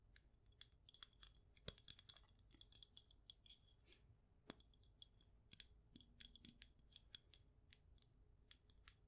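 Long nails tap the glass walls and top of a wax-filled glass candle jar. A steady run of quick, quiet, bright clicks comes with a faint glassy ring that dies away almost at once.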